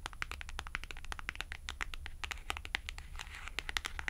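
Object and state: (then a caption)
Cardboard price tag tapped and scratched with nails. A thin white and red cardstock clothing price tag is held at the fingertips while acrylic nails scratch its edge and tap its face. A quick, uneven run of short, dry clicks and crinkly scratches sounds bright around 2 kHz, with a steady low hum underneath. Each tap dies away almost instantly with no ring.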